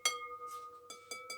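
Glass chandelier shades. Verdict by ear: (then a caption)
Intact. The glass shades of a 1940s chandelier are tapped four times, each tap giving a bright, clear clink with steady ringing tones around 2.2 kHz, 1.2 kHz and 500 Hz that sustain between strikes. The shades are all intact, since broken glass would not ring like that.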